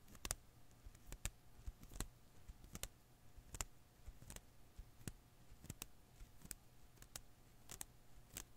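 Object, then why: Rubber Koosh ball. Fingertips and nails pinch and pluck the thin rubber filaments of a single blue and green Koosh ball held in one palm. The result is a quiet string of short, sharp, bright snaps that stop instantly, spaced irregularly over a steady low hum.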